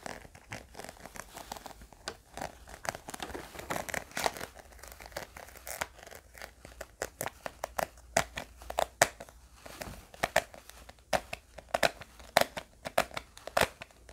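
A small, round, pink hard-plastic Hubba Bubba tape gum container with a ridged edge is tapped and scratched with fingernails. Dozens of quick, dry clicks and taps ring out over a steady crinkly, scratchy rustle. The clicks are bright and crackling, with a plasticky tone near 670 Hz.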